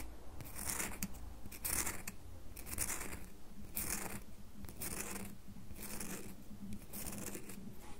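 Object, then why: Bar of soap. Long nails scratch quickly over the scored surface and edges of a solid red bar of soap held close to a table. Repeated bright, dry scratching bursts come roughly once a second over a steady low rumble.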